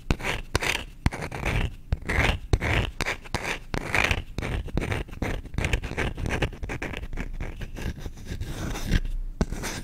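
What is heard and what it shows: Short nails quickly scratch and rub the back of the bowl of a solid wooden spoon. The result is a fast, dry, uneven scraping with brief bright bursts over a low, dull rumble.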